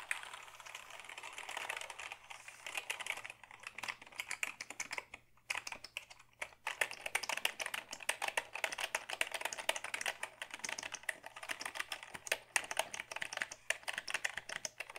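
Fingertips reach over the top edge of a black Dell keyboard made of hollow plastic and type on its keys. Rapid, bright, clicky taps with almost no ring run through the clip, with a brief lull around the middle.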